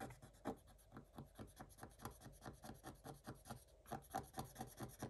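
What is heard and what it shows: A thin wooden stylus scratches quickly across a black coated scratch-art page in a spiral book. It makes a rapid series of short, dry, raspy strokes, a little over two per second, with a brief pause near the end before the scratching resumes.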